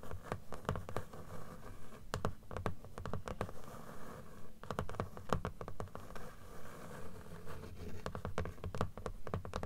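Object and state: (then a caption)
Closed paper book, solid stack of pages. Long nails scratch and tap along the page edges of a closed blue book, a solid stack of paper. Quick, irregular dry taps cut through a continuous soft scratching rasp. The sound is muted and low, with short clicks that die away almost instantly.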